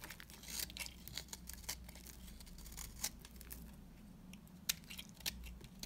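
A metal cutter blade slices and scrapes the cut faces of a solid, dry beige soap bar held in the hands, shaving it into flakes. Crisp, bright scratchy crackles and sharp clicks come in quick bursts over a faint, steady low hum, and the soap is left in flakes.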